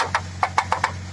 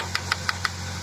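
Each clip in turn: First: ABS plastic housing. Second: PP plastic, dull strike sound.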